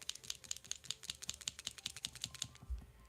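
A fine tip acrylic paint marker is shaken, and its mixing ball rattles inside like a spray paint can as a quick, bright series of sharp clicks, roughly two or three per second. The marker sounds normal, and the rattle shows it needs to be shaken, and also pumped, before use.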